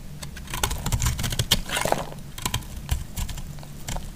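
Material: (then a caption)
Soap. A metal utility blade cuts and scrapes a solid orange bar of soap, making a quick run of crisp, bright crackles and clicks over a low rumble. Pieces crumble off as the blade works through the bar.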